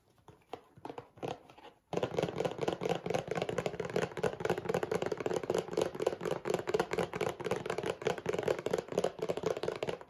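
A rectangular printed cardboard tissue box with tissues inside, held in the hands, is tapped and scratched with fingernails on its sides and bottom. A few sparse, soft taps open the clip, then after about two seconds a dense, steady papery scratching takes over, centred in the low-mid range and continuing to the end.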